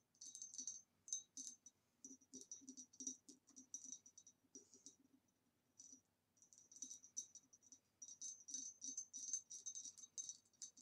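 Long nails tap and click quickly on the ribbed neck and lower body of a hollow, empty green ribbed glass vase standing upright. Bright, dry clicks with a high glassy tick come in irregular bursts, with short pauses and a longer quiet gap midway. Each click dies away almost at once, with a soft low knock underneath.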